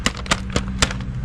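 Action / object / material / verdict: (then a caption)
tap / coolant hose tee fitting, metal / metal / metal. Four sharp, bright taps ring briefly off a new metal replacement coolant hose tee fitting for a 2009 Ford Focus radiator and thermostat job; it replaces the original plastic tee that snapped off. The taps confirm it sounds like metal, as these parts are now made of metal, likely because the plastic ones commonly break.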